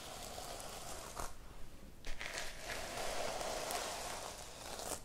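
Long painted nails and a palm brush and scratch across the reversible plastic sequin cover of a small rectangular notebook held in the hand, flipping the sequins. The result is a continuous crinkly, scratchy rustle with bright bursts as the sequins flip over.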